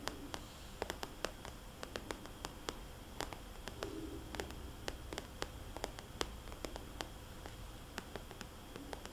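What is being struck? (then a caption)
Glossy plastic cosmetics bag. A small red polka-dot glossy plastic cosmetics bag, a hollow pouch held edge-on with its zipper showing, is tapped with the fingernails of one hand. A steady run of quick, crisp, bright clicks, each dying away almost instantly, sits over a quiet, low background rumble.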